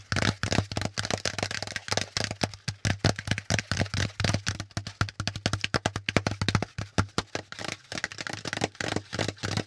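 A folded, hollow brown corrugated cardboard packaging insert, held upright, is tapped rapidly with the fingertips. Dozens of quick, dry taps follow each other, each a low hollow thump with a bright papery crackle that dies away almost instantly.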